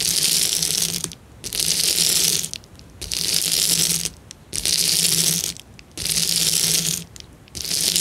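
Fingertips press and scratch a clear plastic bubble wrap sheet, making bursts of dense, bright crackling clicks. The bursts repeat in roughly one-second stretches separated by short quiet gaps, with a faint low hum beneath.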